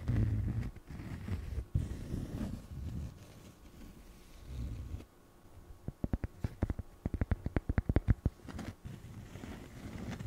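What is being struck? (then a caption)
Small cork coaster. A small, flat, solid square cork coaster held up close is scratched and tapped with long fingernails. First comes a soft, muffled, low scratching and rubbing, then a quick run of short, crisp taps that die away almost instantly, followed by more faint scratching.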